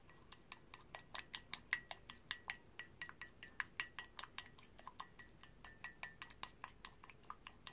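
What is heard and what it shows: A paintbrush is stirred and knocked against the inner rim and walls of a white ceramic mug holding green paint, held in one hand. It makes a quick, irregular series of short, bright clinks with a faint ringing tone near 1.9 kHz. Each tap dies away almost at once.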